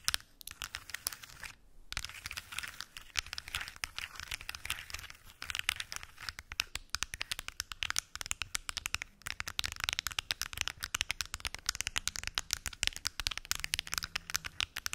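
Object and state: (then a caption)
Plastic pill box. Long acrylic nails tap and scratch a large translucent purple plastic weekly pill organizer with many small hollow compartments and closed lids. The result is a dense, bright stream of quick crisp clicks and crinkly scratching that runs throughout the clip, with only brief pauses near the start.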